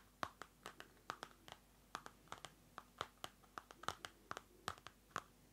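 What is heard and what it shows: Fingernails scratch and tap the card cover of a small Field Notes pocket notebook, a card cover over paper, held close to the mic. About two dozen short, dry clicks and scrapes come in an uneven rhythm, each peaking around 1.1 kHz with a bright edge and dying away almost instantly.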